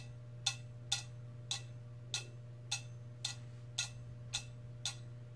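A metal cup is tapped with long red fingernails in ten evenly spaced, quick taps. Each tap is a short, bright metallic tick centred near 3.6 kHz that dies away almost at once. A steady low hum runs underneath throughout.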